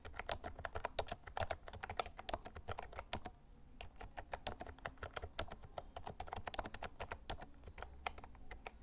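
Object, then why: Plastic mechanical keyboard. Fingertips type continuously on a lilac plastic Actto Retro Pop Mini Bluetooth mechanical keyboard with round keycaps. The result is a steady stream of quick, bright, clacky keystrokes with very short decay over a low rumble.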